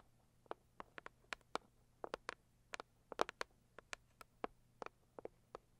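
Long acrylic nails tap the lid of a medium, closed, hollow pink floral cardboard gift box, making about twenty quick, dry clicks in an uneven rhythm. Each tap is short and mid-pitched with a bright edge, dying away almost at once, over a quiet steady low hum.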